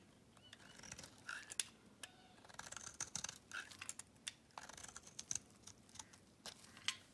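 A metal blade scrapes and shaves the surface of a solid pink Camay bar soap that has been worn down to a thin slab. The result is a quiet run of bright, crisp scratches and short ticking snaps with almost no low end and no ringing.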